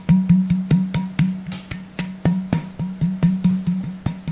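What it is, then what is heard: Empty plastic bottle. Fingertips of a flat hand tap a quick, uneven run of taps on the open neck and top of an empty, hollow, clear plastic Sodastream bottle of about 1 liter with its cap off. Each tap gives a hollow, booming low thump pitched around 180 Hz that bends slightly and rings briefly, with a faint tonal overtone near 1 kHz. The taps overlap into a rhythmic, drum-like resonant pattern.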